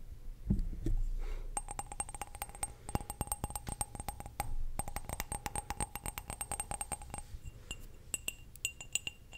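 A small, hollow, empty clear glass cup is held in the hand and tapped and clinked with long nails in quick, uneven runs of sharp clicks. Each tap brings out a brief glassy ring with a steady mid tone and a bright high shimmer over a low rumble, fading in under a tenth of a second.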